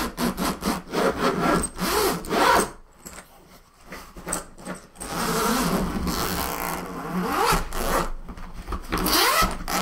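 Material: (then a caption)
Nylon fabric. Both hands quickly brush and rub with fingertips and palms across the fabric top of a large, closed black woven-nylon suitcase lying flat on a table; the case is hollow and looks empty. The result is a run of rapid, scratchy, rasping strokes like sawing or filing. They dip quieter in the middle, then return as steadier continuous rubbing.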